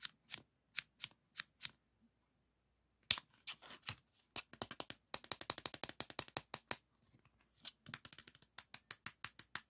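Fingertips slide the metal shutter of a green 3.5-inch floppy disk back and forth and rub its hard plastic shell and metal hub. The result is a quick series of short, bright clicks and scrapes with almost no low end, paused briefly near two seconds before a sharp, loud click. Denser runs of rapid ticks follow.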